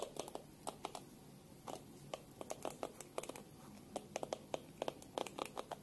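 A small black plastic detangling hairbrush with a hollow oval back is held in both hands while long pink-painted nails tap and click rapidly on its smooth plastic back. The result is a quiet, crisp run of short, dry clicks in uneven bursts, each fading almost at once, with a hollow mid-range knock and a bright tick on top.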